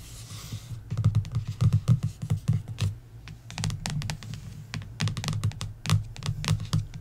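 Long nails tap rapidly across the glossy paperback cover of a coloring book. The result is a dense run of short, dry clicks with a low thump beneath each one and bright ticks on top, in uneven bursts that briefly thin out before speeding up again.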